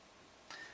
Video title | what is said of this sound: Takom Gepard A1 / A2 (Ukraine War) AA tank 1/35 kit review | It feels metal. Sounds like metal. It is metal.